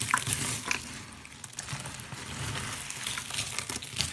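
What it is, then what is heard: Dry, brittle soap flakes. A pile of thin, brittle, dry blue-green soap shavings is squeezed, crushed and rubbed by hand with short nails. The result is a steady bright crackling and crunching, with sharper crisp snaps early on over a soft, dense rustle.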